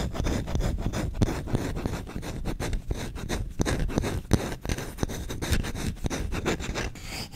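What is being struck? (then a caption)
Wooden spoon. A solid wooden spoon is scratched with short nails and fingertips, first across the bowl and then along the long handle. Quick, dry scratching strokes follow one another steadily with a low, woody body and a light bright hiss on top, each stroke dying almost instantly.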